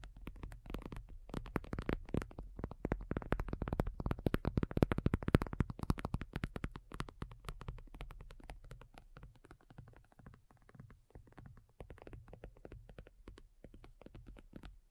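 Long nails on both hands tap rapidly across a thin, hollow-backed black folding faux leather iPad cover lying flat. The taps are dense, irregular, dull and low-heavy with very little ring. They build to their loudest around the middle, then soften into a lighter patter.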